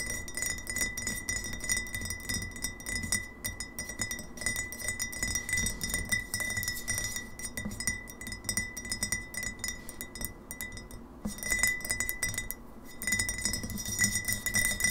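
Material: Glass.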